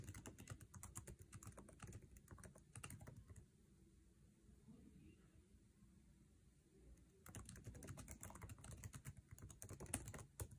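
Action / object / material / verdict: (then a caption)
tap / laptop keyboard, plastic keycaps on aluminium body / plastic / none. Fingertips type fast on a MacBook Air keyboard with plastic keycaps set in an aluminum chassis, making rapid, uneven, dull clicking taps with a low-heavy thud. The typing runs for about three seconds, pauses into quiet for nearly four seconds, then resumes in a dense burst to the end.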